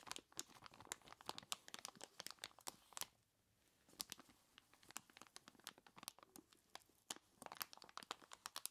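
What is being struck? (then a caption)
Plastic bag full of ice cubes. A large clear plastic bag full of ice cubes is squeezed and rubbed by skeleton-claw gloved hands, giving dense, bright crinkles and sharp crunches with almost no low end. The rapid, snappy bursts come in quick clusters, with a brief near-silent pause about a third of the way in before the crunching resumes.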